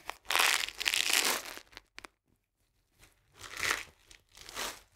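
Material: Cardboard.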